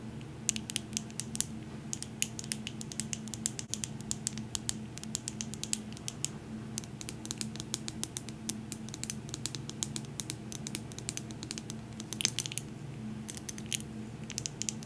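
A medium glass jar candle filled with wax, with a glass lid, is tapped and scratched with long nails. Dense, rapid clicks and scratches crowd the clip with sharp, bright, short-lived transients over a steady low hum underneath.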